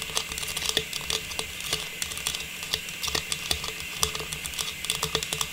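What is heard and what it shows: A small, hollow, faceted silver metallized plastic star tree topper is held in both hands and tapped rapidly with long pink nails. The result is a quick, uneven patter of light, bright clicks, each dying away almost at once over a faint steady hiss.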